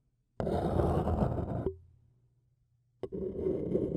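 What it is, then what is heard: Paper cup scratched with a stick. A thin wooden stick scratches around the rim of a hollow, seemingly empty printed white paper cup, making a dense, rough scraping with a low hum beneath it. The scratching stops with a short ringing tone that fades into a faint low drone. It then starts again for the last second.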